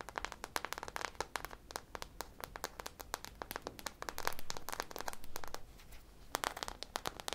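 Long nails scratch and tap the textured surface of a hand-sized, solid soft-foam squishy ice cream popsicle toy coated in purple glittery drizzle and small sprinkles, held up close. Rapid, crisp clicks and dry crackling scratches come in dense bursts, with a brief busier stretch of scratching in the middle, all at a quiet level.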